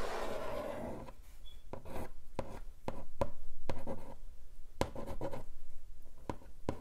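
Long acrylic nails scratch and drag across the lid of a long, flat, hollow pink cardboard keyboard box lying on a table. A steady rubbing scrape opens the clip, followed by a run of quick, irregular scratchy taps with a hollow, low cardboard body.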